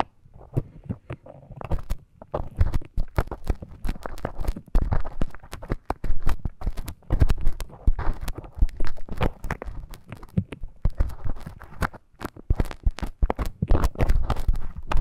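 A thin bamboo stick scratches and scrapes at the entrance of the ear canal on a life-size soft silicone ear model. The result is a dense, close stream of short crackling scrapes and clicks, heavy in low, muffled rumble, that rises and falls throughout with brief quiet gaps.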